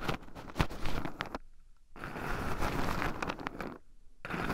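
Two wooden chopsticks stir and poke through a small wooden bowl heaped with raw shelled pine nuts, with two black microphones buried in the pile so the nuts also rub against them. Dense, close scratching and rattling comes in bursts, with two short near-silent pauses between them.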